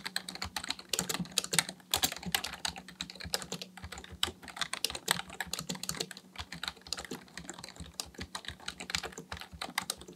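Both hands type steadily on a black plastic full-size computer keyboard resting on a desk, fingertips tapping the plastic keys. Rapid, dry, bright clicks follow one another in an uneven stream, each dying away almost instantly over a faint steady low hum.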